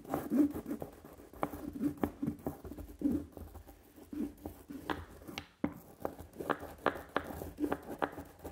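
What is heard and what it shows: A small red rubber brayer, held in the fingers, is rolled back and forth across a flat solid linoleum printing block with a carved leaf pattern and a sticky layer of black ink. Each pass makes a soft, tacky, crackling rub with short sticky peeling ticks. The strokes repeat steadily throughout, low in volume and muted rather than bright.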